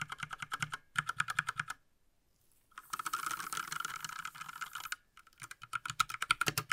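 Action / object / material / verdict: tap / plastic mechanical keyboard / plastic / none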